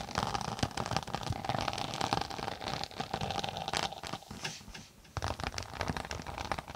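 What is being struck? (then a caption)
Tablet case with textured synthetic cover. Long nails scratch across the textured floral synthetic cover of a closed tablet-size case held flat above the mic. Dense, crackly, crinkling scratches run almost continuously, with a steady midrange tone and a brief quiet dip just before the scratching resumes.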